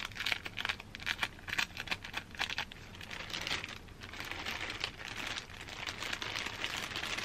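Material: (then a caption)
Plastic. A thin, empty, clear plastic packaging bag is handled, crinkled and scratched with long dark nails and fingertips. Bright, crisp crinkles and scratchy rustles come in quick bursts at first, then settle into a steadier, continuous crackling, all high-pitched with almost no low end.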